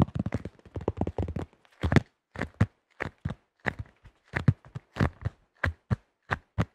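Fingertips rapidly tap and grip the rim and underside of a tan plastic disc golf disc with a blue rim and thin shell. The result is quick, dry, hollow plastic taps with a low thump around 117 Hz, in fast clustered bursts at first and then spaced-out single taps.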